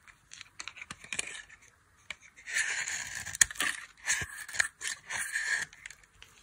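A dry, solid white soap bar with a blue coating is held in the hand and shaved with a metal blade, sending flakes falling. Short, crisp scraping ticks give way to longer, bright, rasping shaving strokes with a dry, papery texture and almost no low end.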